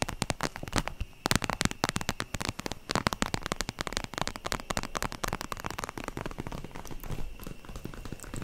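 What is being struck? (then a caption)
Vinyl zip pouch. Long nails tap rapidly across the plastic surface of a holographic vinyl zip makeup pouch held horizontally over the mic. The taps are dense, crisp and irregular, with a soft low thump under a bright, crackly plastic click, and each dies away almost at once.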